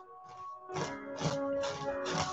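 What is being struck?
Nothing is struck.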